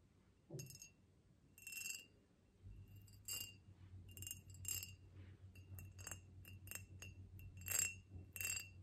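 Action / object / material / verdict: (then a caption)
tap / ribbed glass vase / glass / none. Long nails tap a tall, ribbed, clear glass vase held in the hands, producing a series of bright, high clinks that ring only briefly. The taps come in irregular clusters over a faint, steady low hum, and the overall level stays quiet.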